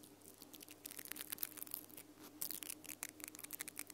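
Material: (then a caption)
Nylon. Long purple nails scratch and flick the pink nylon bristles of a small plastic mascara spoolie brush with a black plastic handle, held near the microphone without touching it. The result is a quiet, rapid run of bright, crisp scratches and dry ticking flicks over a faint steady low hum.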